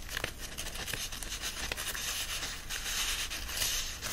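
Palms and fingertips rub the paper pages of an open paperback book resting on a fleece blanket, and a page is flipped. A steady, dry, bright rustling and crinkling fills the clip, broken by short scratchy swipes, with little low end and no ring after each stroke.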